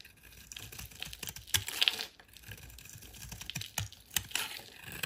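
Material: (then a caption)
Soap. A metal utility knife blade shaves and carves a solid rectangular white soap bar held in hand, piling up curled shavings. Quiet, crisp scraping and short clicky cuts come in a rapid, uneven series, bright and centered around 3.2 kHz with little low end, and a few sharper slices stand out.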